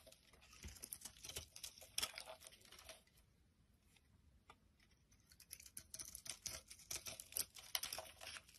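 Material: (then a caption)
Soap. A palm-sized solid brown bar of soap held in the hand is repeatedly shaved with a utility knife blade, curling off thin shavings. Dry, crisp scraping and crackling strokes come in quick, bright bursts, with a quieter pause near the middle before the shaving picks up again.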